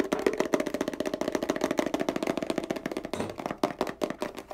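Fingertips and nails rapidly tap and scratch the label and body of a small, apparently filled white plastic Bio Extratus 100 ml cream bottle with a green nozzle cap. Quick, crisp clicks and scrapes follow one another densely, with a hollow midrange tone around 380 Hz and a short pause before the tapping resumes.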